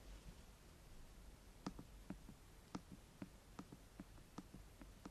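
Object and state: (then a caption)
Plastic binaural microphone housing. Long painted fingernails of both hands tap on the top of a white, rectangular, hollow plastic binaural microphone housing with silicone ears on its sides, lying on a dark surface. A quiet, irregular series of short, crisp clicks has a hollow, low body and a bright tick on each strike, dying away almost instantly over a low, steady background hum.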